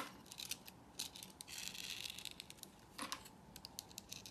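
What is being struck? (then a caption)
Bar of soap scraped with a blade. A utility knife blade scrapes the textured crust off a hand-held solid purple soap bar in strips. The sound is quiet, bright and dry: crisp scraping bursts broken by many short, sharp ticks that stop almost instantly.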